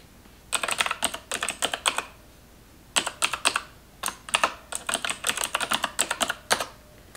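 A black plastic computer keyboard is typed on in close-up with long white-tipped acrylic nails. Bursts of quick, bright, clicky taps come in three runs, separated by brief pauses.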